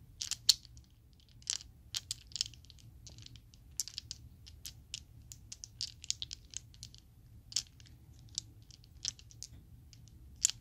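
A set of about seven small, solid purple-teal Chessex acrylic polyhedral dice is held in an open palm with long pale-blue nails and shaken and clacked together by hand. Bright, crisp plastic clicks and rattles come in scattered bursts, each dying almost instantly over a faint low hum.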